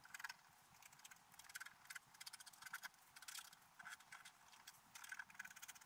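A wooden stylus scratches details into a flat, black-coated sheet of scratch art paper. Quiet, dry, bright scratching comes in clusters of rapid short strokes, with a faint scratchy tone near 1.7 kHz and almost no low end. Brief pauses fall between the bursts.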